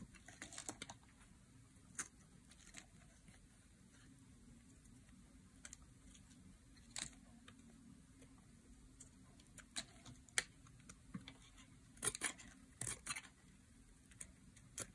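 Thin slices are carved off a solid oval bar of dry green soap held in the hand with a metal blade. Sharp, bright, dry clicks and crisp snaps come in scattered bursts, some in quick clusters, over a faint low steady hum.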